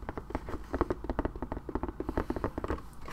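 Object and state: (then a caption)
Leather satchel bag. Fingertips and nails tap on the front flap and top of a small, hollow tan satchel made of smooth leather, with a buckle strap and brass side rings, held up in the air. About twenty soft, quick, dull taps come in an uneven run, each with a muted low-mid thump and almost no ring.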